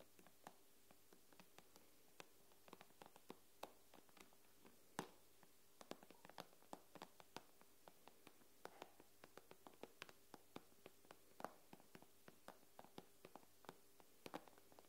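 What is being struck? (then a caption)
Glass tablet screen. Long nails tap across the glass screen of an iPad with both hands, producing a quick, irregular stream of sharp, dry clicks that die away almost instantly. The taps sit over a faint, steady low hum and vary in strength, with a few landing noticeably harder than the rest.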